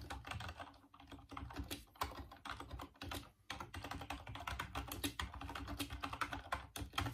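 Fingertips type on the keys of a full-size off-white plastic Dreamcast computer keyboard. A rapid, steady run of light clicky key presses rattles with short bright plastic clacks over a low thump, with brief pauses between bursts.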